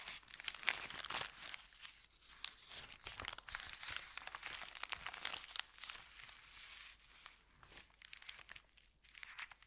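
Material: Paper.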